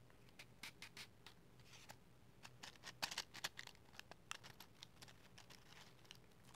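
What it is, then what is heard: Cardboard matchbox. Long matte green nails slide, scratch and tap across a small, hollow cardboard matchbox full of wooden matches. The result is a quiet, irregular run of crisp, bright clicks and scratchy brushes with very short, dry decays over a faint low hum, with a louder cluster of sharp taps in the middle.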